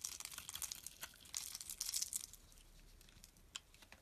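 A solid dark green bar of soap held in the hand is scraped with a metal blade, shaving off crumbly pieces. The result is a dense run of crisp, bright crackling and scraping that is busiest in the first two seconds, then thins to softer rasping with a few isolated sharp ticks near the end.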